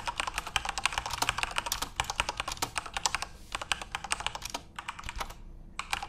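Fingertips type rapidly on a full-size RGB-backlit Corsair mechanical keyboard with plastic keycaps. The result is a fast, dense stream of sharp, bright plastic clacks with almost no ring, with brief pauses near 3.5 and 5.5 seconds before the typing picks up again.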